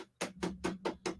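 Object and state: Wooden cricket bat.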